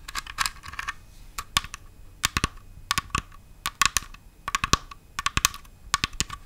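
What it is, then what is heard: Glitter-covered pumpkin decoration tapped with nails. A large red glitter-coated Halloween pumpkin decoration with a metallic stem is held close and tapped and scratched with long white-tipped nails. Quick, sharp, bright clicks come in irregular clusters, each with a slight ring near 1.1 kHz that dies away almost at once, separated by brief scratchy rustles.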